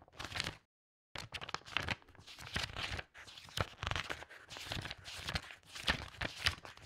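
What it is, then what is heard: Stack of loose paper pages. Long red-painted nails and fingertips quickly riffle and flip through a thick stack of old, yellowed loose paper pages lying on a fabric tablecloth. After a brief pause near the start, the clip is a dense run of crisp, bright paper flutter, rubbing and crinkle with short sharp snaps.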